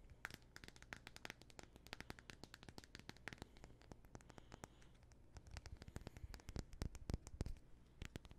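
Fingernails tap and scratch the glass back of a thin, solid black Android phone held near the microphone. The result is a quick, dense run of sharp, dry clicks and scratchy crackles over a low, steady hum. The taps grow louder and more spaced out in the second half.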